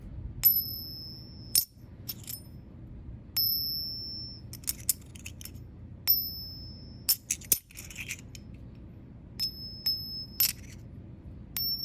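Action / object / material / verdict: flick / silver coin / silver / real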